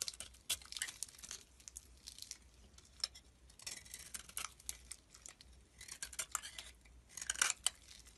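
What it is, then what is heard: Bar soap being shaved. A palm-sized solid bar of soap with a pink coating and cream-colored inside is held in hand and shaved with a metal blade, while another soap bar lies still nearby. Quiet, crisp scraping and crumbly crackling come in short, bright bursts with almost no low end, separated by soft pauses.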